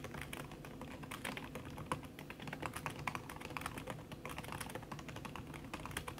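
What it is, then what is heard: Laptop keyboard with silicone cover, fast typing. Fast typing with fingertips and long red nails on a backlit aluminium laptop keyboard with plastic keys under a red silicone skin. A steady stream of soft, muffled clicks and taps is heard, with short, dull keystrokes and no ringing.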